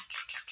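A bottle of pearl Luminizer airbrush makeup is shaken before use, and the metal mixing ball inside rattles in three quick, bright bursts. The rattle shows the ball is moving freely and the product is being mixed.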